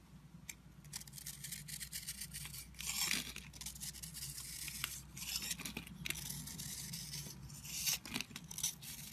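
A red utility knife scrapes and chips flakes off an oval solid soap bar with a rough, dry, crumbly green/blue coating, held in the palm. The result is a dense, bright, crackly scraping with many quick rasping strokes, swelling into louder bursts around the third and eighth seconds.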